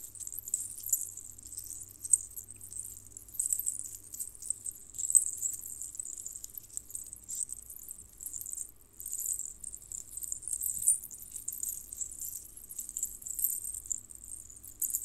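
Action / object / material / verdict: shake / necklace of small metal jingle bells / metal / none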